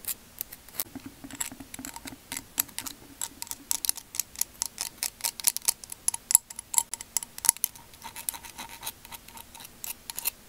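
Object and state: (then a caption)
Spiky seashell scratched. The tip of a thin wooden bamboo skewer scratches across the ridged outer surface of a hand-sized, hollow, cream-coloured spiky seashell made of calcium carbonate, held in one hand. It makes a rapid, uneven run of short, dry, bright scratches and clicks with almost no low end and no ring after each one.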